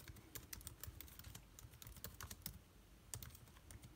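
Fingertips type quickly on the plastic keycaps of an aluminium-bodied laptop keyboard. The result is a rapid, uneven stream of short, dry key clicks with soft low thumps beneath bright, crisp tops, each tap fading almost instantly.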